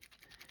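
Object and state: Dry gourd, seeds rattle loose inside.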